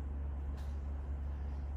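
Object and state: Nothing is struck.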